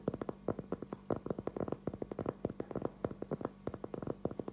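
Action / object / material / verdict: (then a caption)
tap / thin round cork board / cork / none. A thin, solid round cork trivet about 20 cm across, held in both hands, is tapped quickly with the fingertips and short nails. About thirty soft, dull knocks come in uneven bursts, each dying at once with no ring and a muffled mid-range tone, over a faint steady low hum.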